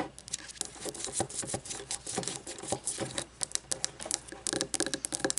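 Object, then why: Wax-filled frosted glass candle jar. Long blue-painted fingernails tap rapidly on an upright frosted glass candle jar, about 10 cm tall, with a paper label and filled with solid white wax, standing on a wooden table. The result is a fast, irregular patter of bright, crisp clicks that stop almost instantly, with a faint scratchy texture between them.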